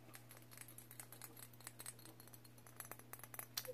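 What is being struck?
Glazed ceramic figurine.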